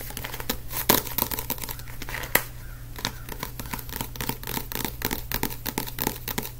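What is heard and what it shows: Fingertips tap and scratch the glossy blue and black card cover of a small, solid paperback book, making a quick run of short, dry, bright clicks and scratchy rustles. Two sharper, louder taps stand out near the start and middle, over a steady low hum.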